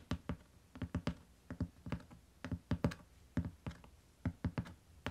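Fingertips with long nails tap the cover of a closed beige hardcover book with paper-covered board, lying flat on a faux-fur rug. About twenty soft, dull taps come in irregular clusters, each a short low thud with a faint bright click on top that dies away almost at once.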